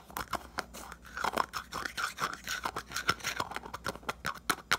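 A small round red 70 g hair pomade jar with a printed lid, likely plastic, is held in one hand while fingertips and nails tap quickly on the lid and rim. The result is a fast, uneven run of short, dry clicks and taps with a bright edge, each dying away almost at once.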